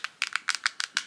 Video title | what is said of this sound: Boox Palma 2 vs Kindle Basic: Battle of the Small E Readers | feels and sounds like plastic it's very lightweight um and while it's solid I don't think you could break it at all